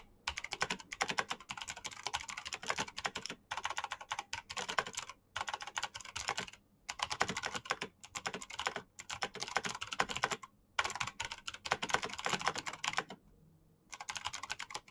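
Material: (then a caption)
Plastic. Rapid fingertip typing on a black plastic mechanical keyboard with green clicky switches produces dense bursts of sharp, bright clicks. The bursts come in several runs separated by brief pauses, and each keystroke dies away almost instantly.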